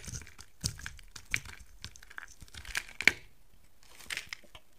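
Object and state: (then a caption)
Soap bar shaved with a blade. A utility knife blade shaves a solid rectangular white soap bar with a gold painted surface into flakes. The result is a series of short, dry, bright scraping crunches and crackles, with one sharper crack standing out near the end, all separated by quiet pauses.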